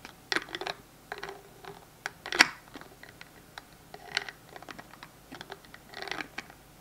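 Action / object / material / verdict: flick / plastic hand sanitizer bottle with flip cap / plastic / none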